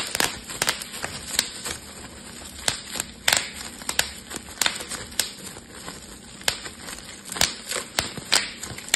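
A clear, air-filled plastic bubble wrap sheet is held in both hands while the fingers pinch and pop the bubbles. About eighteen sharp, bright pops snap out at irregular intervals, each dying away almost instantly over a faint, steady crinkling of the plastic.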